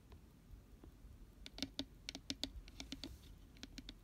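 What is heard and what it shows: Fingertips and nails tap the inside wall and base of an empty, hollow, round glitter-pink cardboard cupcake gift box with a white paper lining, held on its side. About thirteen quick, dry taps ring out at an irregular pace, each with a hollow low knock and a bright clicky edge that dies away almost at once.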